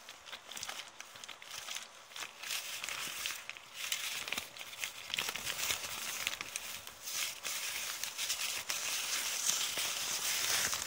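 A thin, empty, crumpled brown kraft paper bag is held close and crumpled and scratched by long, red polka-dot painted nails. Dense, dry crinkling and crackling come in uneven bursts, bright and papery with almost no low end, growing slightly louder toward the end.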